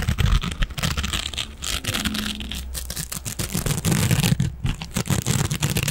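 A silver metallic mesh scrubbing sponge is held upright and scratched with fingernails. It makes a steady, dense, crackly scraping with rapid bursts of bright, high rasp over a strong low rumble.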